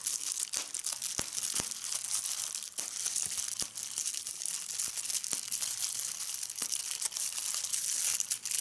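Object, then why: Plastic bubble wrap. Clear plastic bubble wrap is held up in a fold while fingers pinch and pop individual air bubbles. A steady, bright crinkling runs throughout, punctuated by sharp, dry pops that die away almost instantly.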